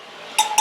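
Steel spokes on a motorcycle wheel are tapped twice with a metal object, each tap giving a bright, ringing ping around 855 Hz that decays quickly. The spokes ring clearly rather than sounding dead, showing they are tight and good.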